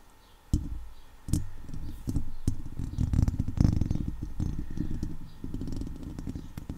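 Fingertips and long nails from both hands scratch and rub around a hollow steel wire-mesh microphone grille. The result is dense, close, low rumbling and scraping with sharp crackly onsets, starting abruptly after a brief quiet moment and continuing steadily to the end.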